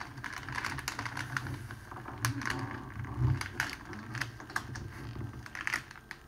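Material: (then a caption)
Cellophane. A large clear cellophane sheet, folded into a long strip on a table, is pressed and rolled along its folded edge by palms and fingertips. The result is a steady run of quick, dry crinkles and crackles with bright snapping ticks over soft low thuds, with a louder burst near the middle.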